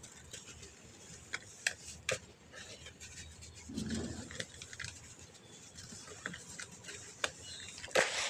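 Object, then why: Compacted clump of sand. Two bare hands with painted fingernails squeeze, rub and crumble a large, solid, dusty clump of packed dry white sand over a bowl of loose sand, using fingertips and palms. Quiet gritty rustling is broken by sharp, bright crackles and crunches, with a fuller grinding rub near the middle and a brighter crunch at the end. The clump breaks into smaller powdery chunks.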